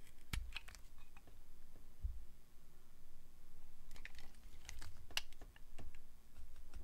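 A metal blade carves thin slices from a solid translucent glycerin soap bar, producing a quiet run of short, crisp clicks and scraping ticks. Each cut snaps off sharply and dies away almost at once, over a steady low rumble with occasional soft low thumps.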